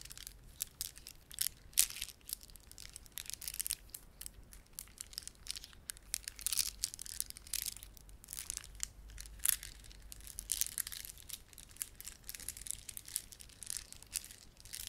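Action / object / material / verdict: scrape / plastic beaded ornament / plastic / none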